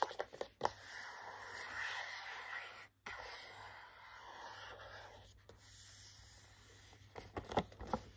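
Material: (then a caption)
Cardboard, plastic. Short nails tap and scratch the front of a small cardboard gift box holding three hand cream tubes behind a clear plastic window. A few sharp, dry taps lead into steady rasping scratches that pause briefly, continue more softly, and end with another cluster of light taps.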